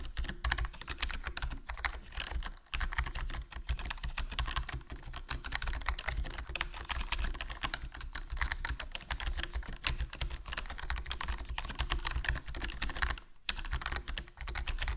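Fingertips type continuously on a HyperX Alloy Core RGB plastic membrane gaming keyboard with a foam mod, a hollow black plastic body and black plastic keycaps. A dense, steady stream of short, soft keystroke clicks carries a bright edge over a low thump, with only brief pauses near the 2.6 and 13.3 second marks.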